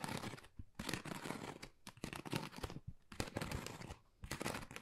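A flat, pale pink, pebble-textured Dior cardboard folder, thin and hollow, is scratched with long nails. Bursts of dry, crinkly scratching with a papery, tearing texture come in uneven waves, separated by brief quiet gaps.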